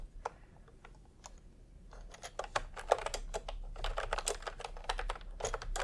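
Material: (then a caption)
Plastic. Bare fingertips of both hands type fast on a full-size pastel plastic retro keyboard with round plastic typewriter-style keycaps, resting on white fabric. Sparse, crisp key clicks build after about two seconds into dense, irregular typing with short, bright clacks centered around 500 Hz. A faint low hum sits underneath throughout.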